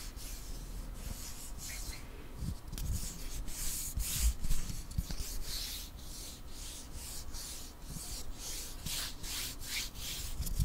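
A long, flat, solid light-wood ruler is held in both hands while nails and fingertips rub and scratch along its surface. The result is a steady stream of quick, dry, airy scratching strokes with a soft low rumble underneath, occasionally swelling a little louder.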